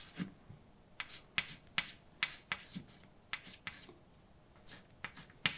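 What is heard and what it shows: A hand writes words with a white chalk stick on a large, flat, dark painted blackboard with a solid surface. About fourteen short, sharp taps and scratchy strokes click out in quick succession, each bright and dry with almost no ring, separated by brief quiet gaps.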